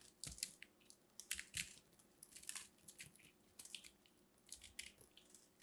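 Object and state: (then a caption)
Dry, hard soap being carved. A small blade carves and scrapes the textured surface of a solid, crumbly, dried purple soap ball held in the hand, with flakes falling off. Quiet, bright, irregular crunching and scratching bursts follow one another.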